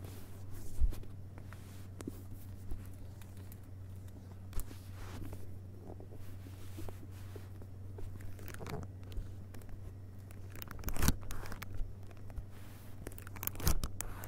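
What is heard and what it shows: Fingertips tap and rub the glossy paper dust jacket over the cardboard boards of a closed hardcover book, "Vagabonds," lying back cover up on carpet. Soft, quiet taps and brushing scrapes come and go, with a few sharper taps standing out, over a steady low hum.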